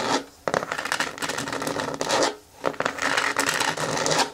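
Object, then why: Hard plastic bin with lid. Long fingernails scratch and tap along the top rim edge of a green hard plastic bin with a lid, held with its bottom facing out and gripped at the sides. Dry, bright rasping scrapes come in three bursts separated by short pauses, with light taps mixed into the scratching.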